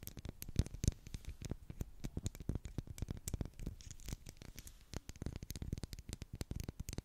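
Long black acrylic nails tap and scratch across a solid, medium pink wax pillar candle with twisted ridges. It makes a quick, uneven run of quiet, dull taps, heavy in the low end, mixed with short dry scratches that stop at once with no ring.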